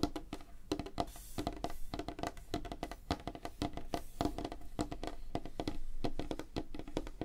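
Fingertips and nails tap quickly on a flat, solid, light wooden tabletop, with one hand partly at the edge of the frame. The result is a dense run of short, dry knocks that die away almost at once, with a low body and a hollow tone near 300 Hz.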